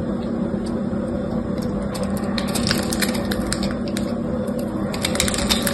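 A solid bar of soap with a red textured coating and a cream interior is held in the fingers and carved and scraped with a utility knife blade. A steady scraping runs throughout, dotted with quick, bright crackling clicks over a constant low rumble.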